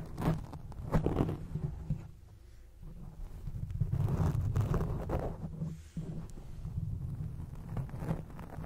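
Long acrylic nails scratch across a grey foam microphone windscreen. The result is a muffled, bass-heavy rustling and scraping in uneven repeated strokes, swelling and fading with no bright edge.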